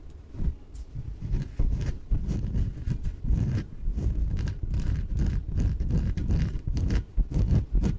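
Fingernails tap rapidly on the surface of a small yellow inflatable PVC exercise ball, hollow and air-filled. The result is a dense, uneven patter of soft, dull, low thumps with quick decays, mixed with faint scratchy brushes.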